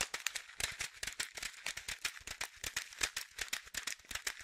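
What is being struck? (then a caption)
Plastic pouch of dry fish food pellets. A small blue and white printed plastic pouch of Aquarian fish food, about 15 cm and partly filled with dry pellets, is held in both hands and shaken. The pellets give a steady stream of quick, bright, crisp rattling bursts with very little low end, each one dying away almost at once.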